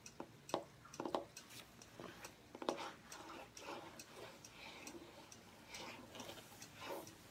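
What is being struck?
Hardcover journal with cardboard covers.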